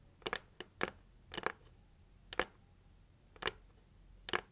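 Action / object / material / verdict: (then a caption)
tap / cardboard gift box tapped with fingernails / cardboard / none. Long acrylic nails tap the lid of a hollow, pink printed heart-shaped cardboard gift box held in both hands. The result is a series of short, dry, clicky taps, some in quick pairs, separated by quiet pauses, with a bright papery tone and almost no ring.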